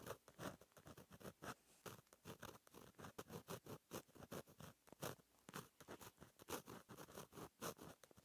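A fine metal gel pen tip scratches across a flat, black lined notebook page in cursive strokes. The result is a quiet, steady series of short, dry scratching bursts with brief gaps between strokes, spread broadly from low to bright frequencies.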